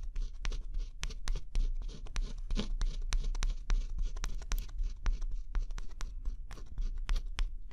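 A thin scraper stylus scratches the black scratch-off coating from a small area of a flat cardboard jigsaw puzzle. Quick, irregular strokes make dry, bright scraping ticks and rasps over a steady low hum, with no pauses between them.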